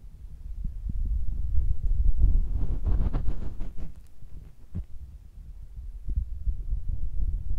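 A fingertip rubs and taps on top of a small cylindrical metal microphone capsule with a red ring, mounted on a Tascam recorder with a hollow housing. The result is a deep, close-up rumble of soft low thumps and muffled throbbing, with a few brighter scratchy rubbing bursts in the middle.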